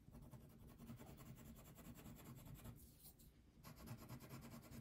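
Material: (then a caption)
Paper, wax. A red/pink wax crayon rubs back and forth across a thin paper coloring sheet resting on a table. The strokes make a steady, low, scratchy rasp. A brief lighter, hissy pass near the three-second mark interrupts it before the heavier coloring strokes resume.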